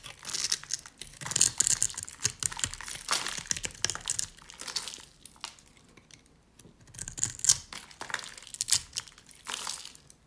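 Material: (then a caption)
Soap. A flat metal blade held in fingers with long black nails scrapes and carves across the face of a hand-sized, solid bar of dry, pale yellow soap that is pre-scored in a grid, flaking off small soap cubes. Dry, bright, crunchy crackling and scratchy scraping come in quick clustered bursts, with a quieter stretch in the middle before the crunching picks up again.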